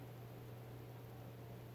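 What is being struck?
Nothing is struck.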